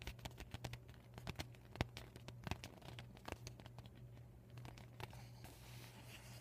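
Short fingernails tap and scratch the plastic of an empty, deflated PVC vinyl beach ball with a yellow panel bearing marker writing. Quiet, crisp clicks and dry crinkly scratches sound over a steady low hum, ending in a softer, continuous scratching.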